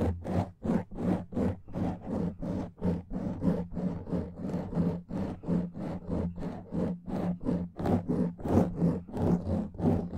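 Fingertips and nails rub and scratch a black foam microphone windscreen in quick, repeated strokes. Each stroke is a dry, scratchy burst with a hollow, low rumbling body, and the strokes come in a steady back-and-forth rhythm throughout.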